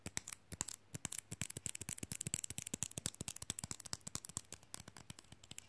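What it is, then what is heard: Rigid fridge magnet tapped with fingernails. A small, flat, glossy rigid rectangular fridge magnet printed "I like big books" is held in one hand and tapped fast with the fingernails of the other hand. About 38 quick, dry clicks follow one another, each bright and sharp with almost no ring, over a faint low hum.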